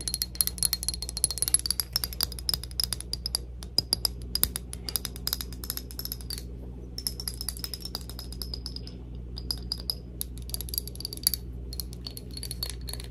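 A glass perfume bottle of the cloud perfume is tapped rapidly with the fingertips, producing dense, bright, clicky glass taps with short high ringing tones over a steady low hum. The tapping pauses briefly twice before continuing at a quick, even pace.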